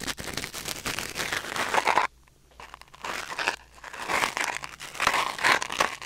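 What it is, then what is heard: Wooden ear pick scraping a silicone ear. A thin wooden or bamboo ear pick, held in the fingers, scratches and scrapes inside the canal of a white silicone ear mounted on a black binaural microphone. Dense, crinkly, crackling rustles fill the clip, with bright scraping strokes centered around 1 kHz. The rustling breaks off into near silence just after 2 seconds and briefly again around 3.6 seconds.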